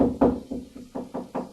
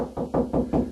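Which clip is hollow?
The second.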